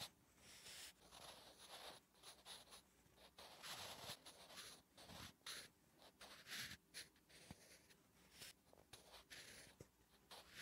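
A wooden graphite pencil writes Korean letters on a flat, solid lined paper notebook page, making soft, bright scratching strokes. The quiet rasping comes in short bursts with brief gaps between the strokes.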